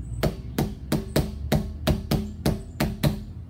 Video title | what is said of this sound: Learn Freely Fest 2020 - DIY Musical Instruments 🎶 | i can tap it on the side like this it's got that big hollow sound